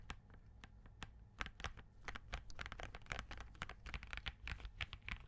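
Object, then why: Mechanical keyboard with plastic keycaps. Both hands type continuously with the fingertips on a compact Spark67 mechanical keyboard with Crane switches and green plastic keycaps. The result is a rapid stream of crisp, bright clicks and clacks over a steady low hum.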